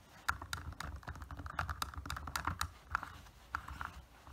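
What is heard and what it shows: Fingernails tap and scratch the surface of a small solid plastic (PVC) anime figure on a black plastic base. The result is a quick, irregular series of sharp, dry clicks with a bright tone around 1.4 kHz that stops almost instantly, over a soft low rumble.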